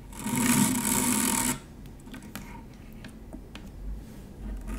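Long nails lightly scratch a stainless steel wire-mesh strainer, producing a loud, bright, hissing rasp with a low hum underneath for about the first one and a half seconds. The sound then drops to a quieter stretch of scattered light ticks and faint scratches.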